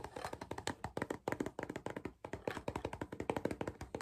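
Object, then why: Cardboard crisp tube. Fingers tap and knock rapidly on a cardboard crisp tube, making dry, short hollow thunks with a low-mid body and very little ring. The taps come in quick irregular bursts with a brief pause near the middle.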